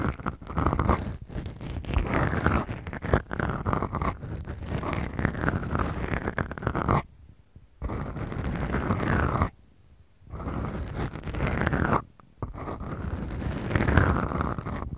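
Two small black foam windscreens on a Tascam recorder are scratched with long nails of both hands, giving dense, rumbling scratchy friction with a heavy low end. The scratching runs in long strokes broken by brief silent pauses.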